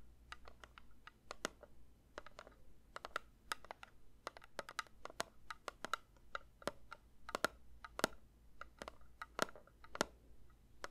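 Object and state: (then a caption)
Metal candle tin, tapped. A metal candle tin is lightly tapped with the fingers in a quick, irregular run of soft taps across about eleven seconds. Each tap is a short, sharp click with a faint metallic tone and a bright edge that dies away almost instantly, over a quiet, steady low hum.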